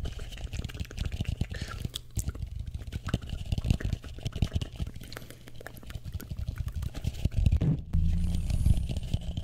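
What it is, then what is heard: Empty plastic bowl tapped and scratched. Fingertips and short nails tap and scratch the outer surface of a medium matte blue plastic bowl, hollow and empty, held upside down over the microphone. The result is a dense, irregular stream of short, dull, booming thuds concentrated in the deep low end, with faint scratchy texture above. The tapping grows slightly louder and fuller toward the end.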